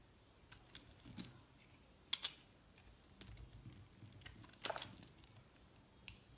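A metal box-cutter blade scrapes across the top of a purple, pink and white recycled solid soap bar. The result is a series of quiet, crisp, bright scratches and clicks with no ring, with two louder scrapes near the middle and another toward the end.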